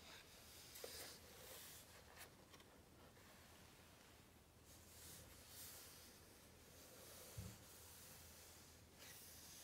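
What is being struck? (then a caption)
Paper hardcover book. Flat palms and fingertips rub and tap the glossy paper pages of a large open hardcover book. Quiet, continuous brushing and hissing friction fills the clip, with brief brighter swishes and a couple of soft, faint taps over a low background rumble.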